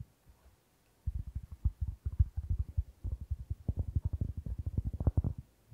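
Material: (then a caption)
Cork. Fingertips tap and scratch the surface of a round, flat, solid cork board held in both hands close to the microphone. After about a second of near silence, a rapid run of about thirty dull, low thumps follows, almost entirely deep and muffled. Each one dies away almost instantly, with no ring, and the taps grow slightly stronger toward the end.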